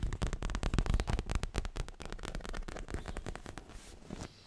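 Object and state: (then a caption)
Leather cushion. Long manicured fingernails tap quickly and scratch across a soft, stuffed, dark grey leather-covered pillow held against the chest. The result is a rapid, uneven run of dull, muffled thuds, deep and short with almost no ring, plus a faint bright scratching hiss. It softens toward the end.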